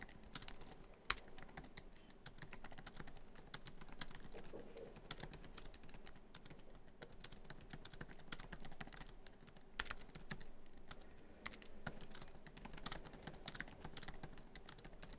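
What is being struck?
Laptop keyboard with plastic keys in a metal body.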